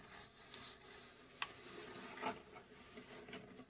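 Long acrylic nails scratch and tap the front panel of a hollow, cube-shaped, laser-cut plywood UGEARS mechanical safe model, about 20 cm across and held in both hands. Soft, dry rubbing and rasping runs throughout, broken by four short, crisp wooden taps that die away almost instantly.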